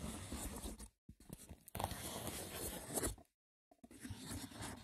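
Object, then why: Woven wicker basket box. Fingertips with short nails scratch the braided top of a small, hollow, rectangular woven wicker box with a lid. The result is a rough, dry scraping rasp in bursts, broken by short silences, with a full low-end body and a bright crackly edge.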